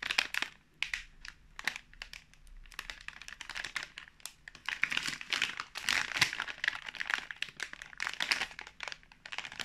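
Fingertips tap, rub and crinkle the surface of a full, sealed pink plastic film snack pouch of fruit marshmallows held in the hands. The sound is a dense stream of bright, dry crinkles and sharp crackling ticks. Each tick stops almost instantly, with little low end, and the louder bursts swell toward the end.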